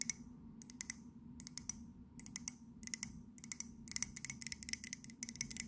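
Long nails tap quickly on the side and glazed base of an empty white ceramic mug. Bursts of short, bright clicks come in clusters that grow denser toward the end, each dying away almost at once over a faint low hum.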